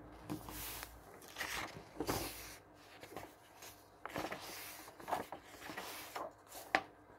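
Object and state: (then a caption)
Glossy paper catalog pages turning. Fingertips and a palm flip and flatten the glossy paper pages of a thick paperback catalog lying open on a wooden table. Bright rustling swishes and soft flapping sounds rise and fall as the pages turn, with sharp papery snaps where each page is pressed flat.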